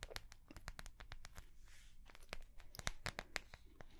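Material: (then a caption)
Plastic. Long nails tap and scratch the front of a small notebook with a clear, flexible plastic cover and metal binder rings. A quick, uneven run of sharp, bright clicks is heard over a low rumble, broken by a softer, hissy scratching stretch partway through. Each tap cuts off almost instantly with no ring.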